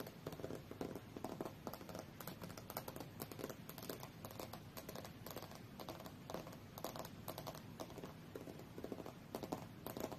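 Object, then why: Glass tablet screen tapped with fingernails. Long fingernails tap quickly and repeatedly on the glass screen of a thin, solid tablet lying flat, screen up, on a fur rug. The taps are soft, dry clicks with a short, mid-pitched tick and almost no ring, forming a steady, pattering rhythm at low volume.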